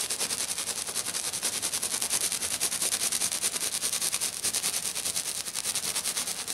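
A hand with black nails taps fast across the surface of a flat, silver glitter-covered sheet. The result is a rapid, steady stream of crisp, bright clicks and scratchy rustles, heavy in the high range with almost no low end. Each tap dies away almost instantly.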